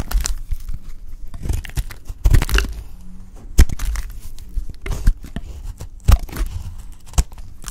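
A lilac oval solid bar of soap held in the hand is shaved with a utility knife blade into flakes. The clip is a string of short, dry scraping and crunching strokes with soft crumbly crackles between them, heavy low thumps underneath and bright scratchy edges on the sharper cuts.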